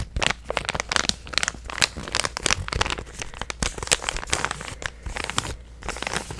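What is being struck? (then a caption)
Plastic stand-up pouch. A hand-sized, purple, resealable plastic supplement pouch that appears filled is held and squeezed with fingertips and painted nails. This produces a steady stream of bright, crisp crinkling and crackling with many quick, sharp snaps. A faint low hum sits underneath.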